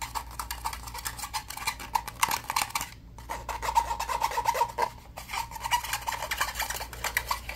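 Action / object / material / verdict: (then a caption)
scrape / plastic game controller / plastic / none. Fingertips and short nails rapidly rub and scratch the textured grip and shoulder area of a hollow black plastic game controller turned on its side. The result is a dense stream of dry, scratchy strokes with a hollow plastic resonance around 930 Hz and a bright, hissy edge, broken by two brief near-silent pauses around the third and fifth seconds.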